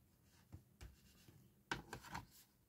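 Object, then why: Cardstock paper gift box. Fingertips and nails rub and press along the lower corner seam of a small, hollow, empty handmade gift box of patterned cardstock standing upright. Two soft, dry taps are followed by a louder cluster of scratchy rubbing and pressing, each sound quiet with almost no ring.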